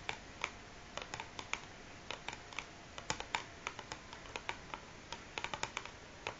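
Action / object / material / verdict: tap / large cardboard matchbox full of matches / cardboard / none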